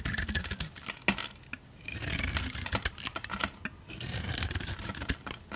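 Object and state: Soap bar being shaved with a blade.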